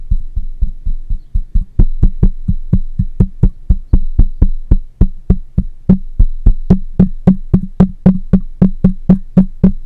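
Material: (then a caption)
Metal mesh. A black microphone with a metal mesh grille is tapped on its side and top with the fingertips and nails of one hand. About forty quick, dry taps come in a rapid, fairly steady rhythm: deep, muffled thumps at first, then sharper taps with a brighter click after about two seconds. Each tap dies away almost at once.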